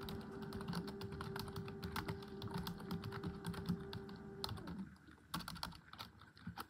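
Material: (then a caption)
Plastic. Both hands type rapidly on a full-size black plastic computer keyboard on a desk, striking the keys with long pink acrylic nails and fingertips. A fast, continuous stream of short, dull clicks plays over a steady low hum, which fades out after about four and a half seconds. The last two seconds are quieter, with a few sparser taps.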